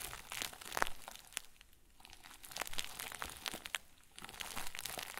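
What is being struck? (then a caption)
Plastic bag stuffed into a ball. A round white plastic bag stuffed into a crinkle ball is crumpled and squeezed by the fingertips of both hands. It makes soft, continuous crinkling with sharp, bright crackles scattered throughout. The crinkling eases into brief quieter lulls before picking up again.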